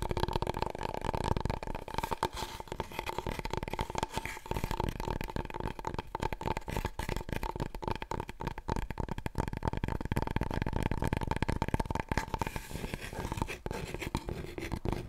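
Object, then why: Long cardboard paper roll tube. Fingertips and long nails rapidly tap and scratch a long, thin, hollow, empty cardboard paper roll tube, held upright and then diagonally. The result is a dense, continuous patter of soft, low, hollow thumps with a steady resonant ring from the tube and light scratchy rustles, easing slightly toward the end.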